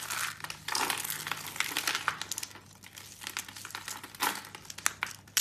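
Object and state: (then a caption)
Dry soap shavings crushed by hand. A small rose of thin, tightly coiled dry blue soap shavings, hollow in the centre, is held in both hands and crushed and squeezed with the fingertips, with loose pink soap flakes lying around it. Dense, bright crinkling and crunching rustles in bursts, loudest at the start, easing in the middle, then broken by sharp crisp snaps toward the end.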